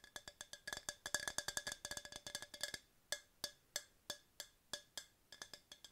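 A tall, hollow, empty yellow hard plastic tumbler, held in both hands, is tapped with long nails. The taps are bright, dry clicks with a short hollow ring. They come in quick, dense flurries for the first three seconds, then slow to evenly spaced single taps.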